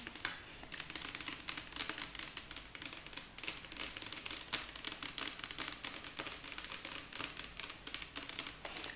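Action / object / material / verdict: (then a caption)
tap / plastic shampoo bottle / plastic / none. A green translucent plastic shampoo bottle with a green cap is held sideways and rapidly tapped with long nails. The result is a dense run of quick, bright clicks that die away almost instantly, with most of the energy in the high frequencies and very little low end.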